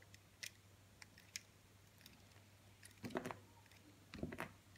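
A utility knife blade scrapes and cuts thin slices from a hand-held solid blue soap bar, carving it into facets. Quiet, sharp ticks and crisp scraping snaps come at irregular intervals, with two denser, louder bursts of crunchy cutting near the end. A steady low hum runs underneath throughout.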